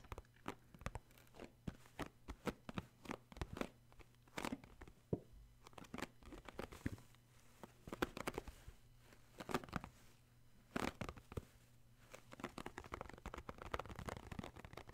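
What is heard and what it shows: Flat fingertips and short nails tap and pat the top and side of a hollow purple cardboard Puffs tissue box holding tissues. The result is a quiet series of short, dry, papery taps in irregular bursts and quick runs, with soft crinkly rustles and no ring after each hit.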